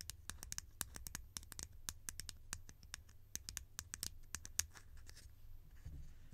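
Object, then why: Hollow conical plastic lid. Long nails scratch and tap a hollow, conical green plastic lid in a rapid, uneven series of sharp, bright clicks. Each tap is dry and dies away almost instantly, with light scratching between taps over a soft low rumble.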